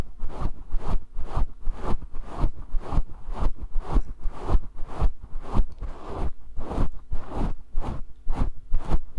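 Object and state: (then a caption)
Faux fur microphone windscreen being scratched. Fingertips rub and scratch a grey synthetic faux fur microphone windscreen held in both hands. The result is a rapid series of soft, deep, thumping scratch strokes with a brushy hiss above them, steady and rhythmic throughout.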